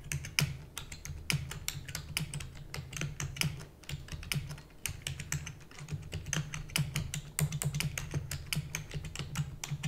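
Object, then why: Plastic computer keyboard. A full-size black plastic computer keyboard with hollow keys is typed rapidly with the long nails and fingertips of both hands. Quick, bright, short clacks tumble over one another in a continuous stream, with brief lulls, over a steady low hum.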